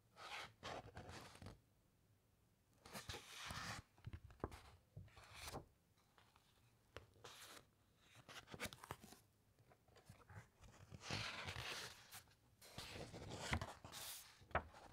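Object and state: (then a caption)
Thick encyclopedia paper pages. Long nails rub and scratch across the thick uncoated paper pages of a large open encyclopedia, then a page is flipped. The result is a series of quiet, dry, broadband rustling and scraping bursts with bright papery crackle, separated by near-silent pauses.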